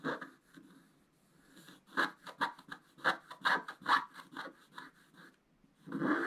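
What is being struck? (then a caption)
Scratch-art paper sheet scraped with a wooden stylus. A wooden scratch stylus scrapes the coating off a flat, black-coated scratch-art paper page in a run of short, uneven scratching strokes. Each stroke is a dry, papery rasp centered around 1 kHz with a bright, hissy edge, separated by brief pauses. The clip ends on a longer, louder scrape.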